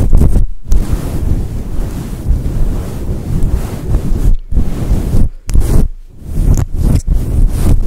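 Fingertips and long nails rub and scratch the sides of a fluffy synthetic faux fur microphone windscreen. This produces a dense, muffled, low rumbling and scuffing, almost entirely below 200 Hz, like wind buffeting. It is broken by a few brief silent gaps.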